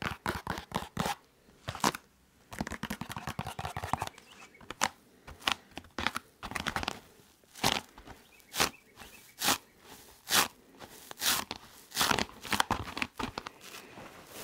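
Fingernails scratch and rub the textured surface of a blue EVA foam exercise roller held upright, making a dry, crunchy, crinkling sound with bright highs. The strokes come in fast, dense bursts at first, then settle into slower, separate scrapes with short quiet gaps between them.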